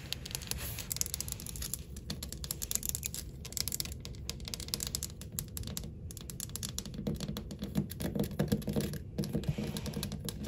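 Long acrylic nails tap and click rapidly across a solid, flat wall of glossy white ceramic subway tiles with dark grout. The result is a fast, continuous stream of short, dry clicks with bright edges over a steady low hum, and brief pauses near the 6- and 9-second marks.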